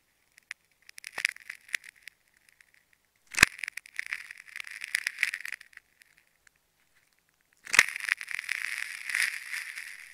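A metal craft-knife blade repeatedly cuts and scratches through the layers of a hand-sized, solid, striped plastic tape ball that is already carved into rings and held in one hand. Short, dry, crackly scraping bursts come first, and then two sharp snapping cuts each open a longer stretch of bright, crinkling tearing through the tape.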